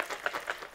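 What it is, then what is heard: Packaged handbag with a loose metal chain strap rattling inside. A packaged handbag with a loose metal chain strap inside is shaken, making quick, light metallic rattles. Four bright clinks stand out over a soft rustle, each dying away almost at once.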